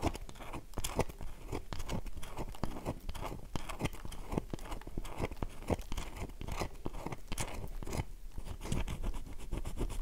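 Long fingernails scratch repeatedly across a solid, oval, light-blue bar of dry soap held in the hand, its crumbly surface giving off a steady stream of dry, crunchy scrapes. Quick, sharp clicks with bright edges stand out over a low, dull rumble, and each stops almost instantly with no ring.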